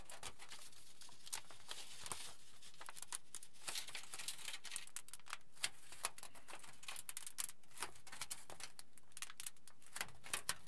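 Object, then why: Crinkled aluminium foil sheet. A crinkled sheet of aluminium foil, held at its edges by both hands, is folded and pleated with the fingers. It makes a steady stream of quiet, bright crinkles and crackles with frequent sharp snaps.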